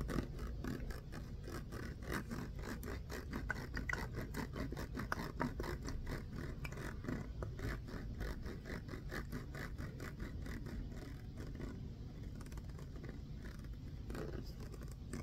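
Fingernails scratch and tap the ribbed body of a clear plastic water bottle with a red label, partly full of water. A quiet, steady stream of rapid, dry scratching clicks continues throughout, with short sharp ticks over a soft, low-heavy rustle.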